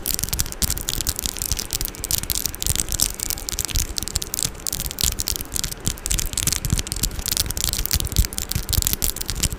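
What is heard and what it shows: Long orange acrylic nails tap and scratch the metal mesh grille of a Blue Yeti microphone, up close. Dense, rapid scraping crackles with bright hiss and low thumps run continuously, each touch dying away instantly.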